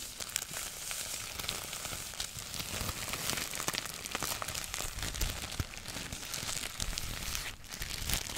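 A thin, folded sheet of plum-colored tissue paper is held in both hands with long nails close to the microphone, crinkled and rubbed between the fingers as the hands keep moving it. The result is a continuous, bright crackling and rustling texture with many tiny sharp crinkles, briefly dipping near the end before resuming.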